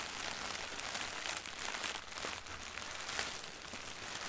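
Both hands tap and scratch with long painted nails and fingertips on a medium white printed soft plastic shipping bag (poly mailer) with cartoon doodles and the text "Beauty is being human," lying on carpet and holding packaged items. The result is a steady, dense, bright crinkling and scratching hiss with soft taps mixed in and very little low end, easing slightly around the middle.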